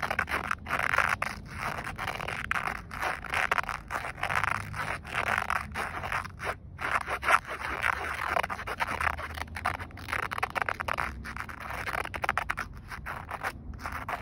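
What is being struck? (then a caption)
Woven polyester seatbelt strap. Fingernails scratch along the ribbed weave of a grey woven polyester car seatbelt strap, a flat fabric band lying across the lap. The result is a steady run of dry, raspy scraping strokes centred in the midrange around 1.3 kHz, with short gaps between passes and no ringing after each stroke.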